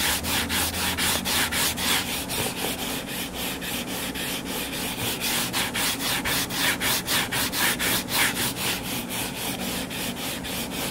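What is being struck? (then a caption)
Hardcover paper book. Short fingernails scratch the cover of a closed hardcover paper book lying flat. The result is a quick, steady run of raspy, bright scratching strokes, about four per second, with a faint low hum underneath.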